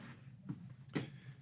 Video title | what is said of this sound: Gravel delivery and other big jobs at the French farm house renovation | But this area which has been worked on, it sounded hollow.